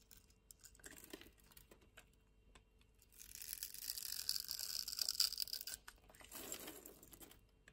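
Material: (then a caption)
Soap. A metal knife scores a grid pattern into a solid cream-white bar of soap held in the palm and scrapes it, raising small flakes. Faint, scattered crisp scratches give way to a louder, sustained bright crunchy scraping in the middle, then a shorter scrape near the end.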